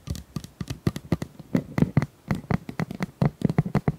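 Long nails scratch and tap along the ribs of a tilted, hollow pink corrugated plastic pop tube about 25 cm long. About two dozen quick, dry taps come in an uneven rhythm, each a short hollow thump with a bright clicky edge. They stop almost at once, with no ring between them.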